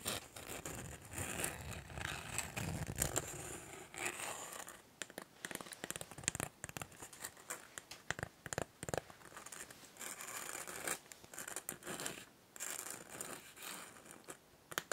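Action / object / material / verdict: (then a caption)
scrape / small plastic toy container / plastic / none. Long nails scratch and tap a hollow, hand-sized, capsule-shaped pink plastic toy container. The result is a dense run of dry, bright scratches and sharp clicks with a high, hissy edge that stop dead with no ring.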